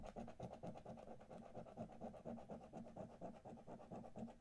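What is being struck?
Paper scratch card scraped with a coin.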